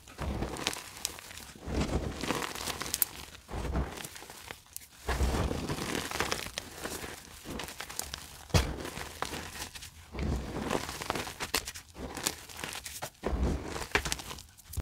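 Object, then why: Loose gym chalk powder rubbed by hand. Bare fingertips and palms rub, rake and press through a large bed of loose, crumbly pink-red dyed gym chalk powder. The result is a steady stream of soft crunching and gritty crinkling in uneven bursts, each carrying a dull low thump beneath a bright, sandy hiss.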